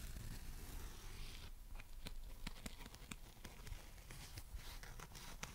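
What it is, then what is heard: Dry foam sponge. A dry, flat, hand-sized foam sponge shaped like a watermelon slice (orange with black seeds, green and white rind) is held in both hands and scratched and tapped with long red nails and fingertips. A soft, low scratchy rustle runs throughout, broken by a series of short, sharp, bright clicking taps that die away almost instantly.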